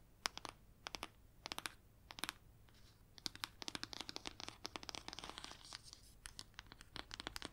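Long nails scratch and tap on a red leather-bound hardcover book, working over its ridged spine and cover. Quick, dry, bright clicks and scratchy strokes come in short bursts, then grow denser and more continuous toward the end. Each sound stops almost instantly, with very little low end.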